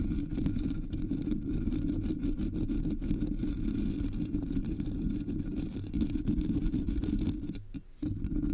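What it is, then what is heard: Metal microphone grille scratched with fingernails. Long polished nails scratch and grip the hollow black metal mesh grille of a Blue Yeti microphone. The result is a dense, continuous low rasping rumble with almost nothing bright in it. The sound drops out briefly near the end before resuming.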